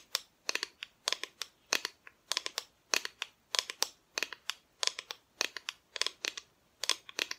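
Long fingernails tap the front of a flat, solid, painted wooden Christmas decoration cutout. The result is quick, irregular clusters of sharp, bright clicks with almost no low end, each dying away almost instantly.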